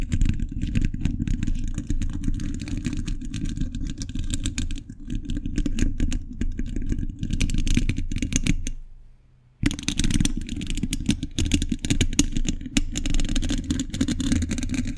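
Metal thimbles on the fingers tap and scratch the hollow steel mesh grille of a condenser microphone, making a dense run of quick clattering hits. The sound is heavy and boomy, low-weighted with a faint bright scratchy edge. It stops for about a second of near silence before the tapping and scratching pick back up.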